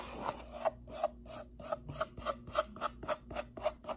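A closed, hollow brown cardboard box with a hand slot is held tilted in one hand while the nails of the other hand scratch and tap its face. A quick, loosely regular run of dry rasping strokes and short papery taps sounds with a hollow mid-range tone and bright scratchy edges. Each stroke dies away almost at once.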